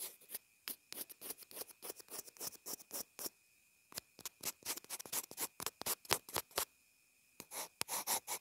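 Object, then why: Plastic earphone inline remote. A pencil point scribbles across a small white plastic inline earphone remote/mic in quick, irregular strokes. Each stroke is a short, dry, bright scratch with almost no low end, over a faint steady tone. The strokes come in dense bursts broken by two brief pauses, near 3.5 and 7 seconds.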